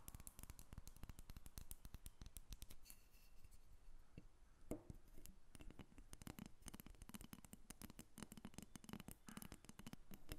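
A small, solid carved wooden dolphin figurine is held and then set on a table while long nails tap and scratch over it. The result is a quiet, continuous stream of rapid, dry clicking taps with very short decay, mixed with soft scratching. The sound is mostly low-weighted, with a faint bright edge on each tap.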